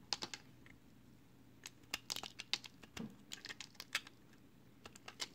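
A small, solid, pale green soap chunk held in the fingers is carved with a box cutter blade. It gives an irregular run of short, crisp, bright scraping and cutting clicks over a faint low hum, with quiet pauses between bursts.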